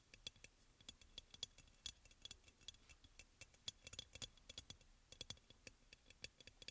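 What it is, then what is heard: Ceramic oil burner, hollow. Fingertips and nails of both hands tap quickly on the body of a hollow, white crackle-glazed ceramic aroma oil burner. The result is a quiet, irregular stream of sharp, dry clicks with a faint ring around 3.4 kHz and bright upper content, each tap dying away almost instantly.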